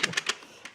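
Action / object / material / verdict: shake / wooden sudoku board with wooden tiles / wood / tight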